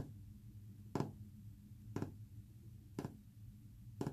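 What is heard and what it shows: Short fingernails tap a flat, solid, white painted wood panel four times, about once per second. Each tap is a brief, dry knock that dies away almost at once, heard over a steady low rumble.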